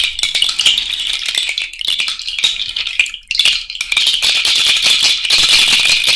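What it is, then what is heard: Cowrie shell bracelet. An elastic bracelet of hollow white cowrie shells and small beads, worn on the hand, is shaken and rattled by fingers close to the mic. Dense, bright clicking and clattering continues with a brief lull around the middle before picking back up. The sound is a dry, high shell rattle with almost no low end.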